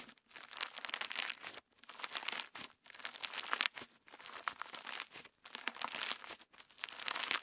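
A solid, soft lump of clear orange slime filled with plastic star sequins is kneaded and stretched between fingertips and thumbs. It gives off dense, bright, crinkly squishing and crackling in repeated bursts separated by brief pauses, with little low-end weight.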